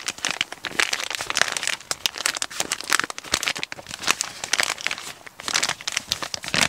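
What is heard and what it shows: A hollow brown kraft paper shipping mailer with a small package inside is held in both hands and crinkled and squeezed with the fingertips. A dense, continuous run of dry, bright crinkles and sharp crackles fills the clip, with almost no low end and no ringing between them.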